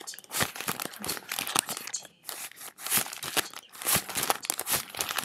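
A thick stack of thin, flexible US dollar bills made of cotton-linen paper is held in both hands and crinkled, flexed and fanned with fingertips and long nails. The result is dense, bright crinkling and crisp crackling in quick bursts, with almost no low end and a short lull near the middle.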